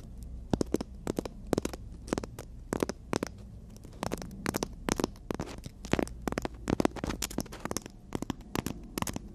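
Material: Emery board.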